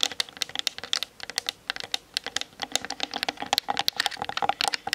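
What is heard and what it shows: Long nails tap fast on the hollow plastic body of a Canon DSLR mounted on a tripod. The result is a dense, rapid stream of crisp, bright clicks, with a sharp tone near 3.5 kHz. Each click dies away almost instantly, and there is no low end.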